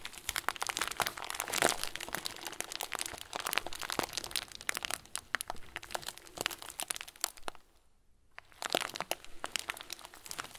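A hand-sized clear plastic bag full of small white plastic pearls is bent and squeezed with both hands, giving dense, bright crinkling and crunching with many sharp clicks. The rustling runs steadily, drops to near silence for under a second around the eight-second mark, then resumes.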